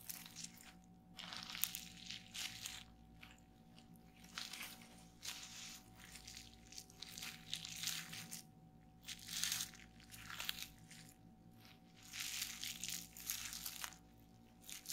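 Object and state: Plastic bubble wrap.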